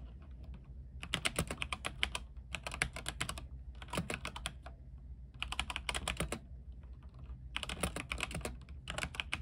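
A compact mechanical keyboard with white plastic keycaps and a silver case, lit with warm RGB light, is typed on with the fingertips of both hands. Bursts of rapid, bright, crisp key clacks come in several runs separated by short pauses, over a steady low hum. Each click is short and dry with almost no ring.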